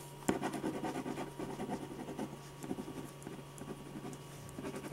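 A metal ballpoint pen tip scratches fine strokes across a large sheet of white drawing paper in a sketch pad resting flat and solid on a firm board. Quick dry scratching strokes with short pauses continue throughout, with one sharper stroke near the start, over a faint, steady low hum.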